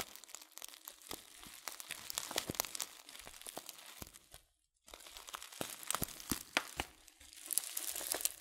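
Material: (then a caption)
Foil-laminated paper. A yellow, hand-sized Sir Winston Tea "Broken Orange Pekoe" package of laminated paper and foil, full of loose tea, is held in one hand and crinkled and squeezed with the fingertips. Dense, bright crackling and crinkling snaps come in quick bursts, with very little low end. They pause for a brief silence just before the 5-second mark, then resume.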